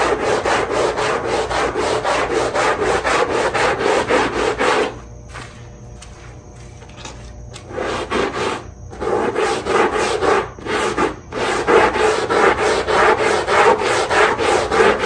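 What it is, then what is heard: Rubber-backed rug underside being scrubbed. A long-handled push brush scrubs through foam across the dotted rubber backing of a small wet rug, making fast, rhythmic rasping strokes centred in the low mids with some bright hiss. The scrubbing pauses briefly for a few quieter seconds in the middle before the steady back-and-forth resumes.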